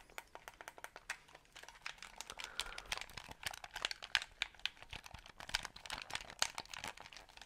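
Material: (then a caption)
Plastic. A small white hollow plastic game controller is held in both hands next to and in front of the microphone while fingertips tap and click its buttons and triggers. The result is a quick, uneven stream of short, dry, bright plastic clicks and taps with almost no low end and very little ring.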